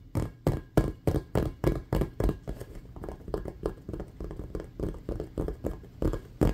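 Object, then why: Inflated rubber basketball. Fingernails and fingertips rapidly tap and scratch an inflated, hollow, patterned rubber basketball resting below the camera. The result is a quick, uneven run of short, dull, low thuds at about three per second, with no ring. The strongest taps come at the start and end, with softer, scratchier ones in between.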